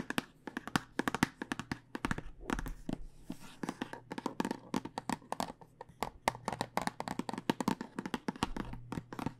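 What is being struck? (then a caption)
Plastic tube of dice. Long nails tap rapidly on the top of a clear plastic tube full of dice, held horizontally, with a cardboard end. The sound is dozens of quick, dry, clicky taps with bright edges, each dying away almost instantly over a faint steady low hum.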